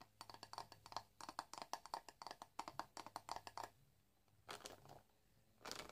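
Fingernails scratch and flick through the dense bristles of a hand-sized black plastic paddle hairbrush. A quick, steady run of short, crisp ticking flicks with a bright rattly edge lasts about three and a half seconds, then breaks off. After a pause come two briefer raspy scratching bursts.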